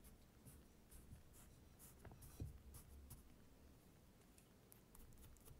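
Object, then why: Kinetic sand poked with a thin wooden stick. A thin wooden stick pokes and scratches into a flat layer of blue kinetic sand, cutting lines and crumbling small clumps. The sound is quiet and soft, with faint bright scratches and gritty crumbles over a low, dull rumble, and one slightly louder poke near the middle.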